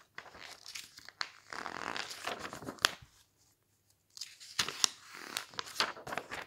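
Fingertips turn and flip the thin glossy pages of a large paper magazine lying open on a table, one after another. The paper rubs, flutters and crinkles in bright, crackly bursts, with sharp snaps near the 3-second mark and after a short silent pause around 4 seconds.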